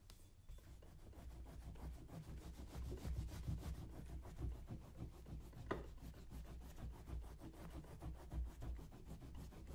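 A small handheld scraping tool is drawn along the shaft of a brown leather cowboy boot, worn on a foot and resting on a shoe-shine stand, while the other boot sits untouched. Quick, uneven scraping and rubbing strokes run continuously throughout, with a dull, low-heavy texture and no ringing.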